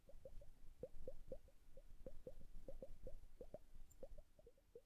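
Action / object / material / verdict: shake / glass hourglass with liquid / glass / none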